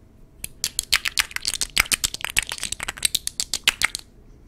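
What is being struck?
Glass perfume bottle with a metal cap.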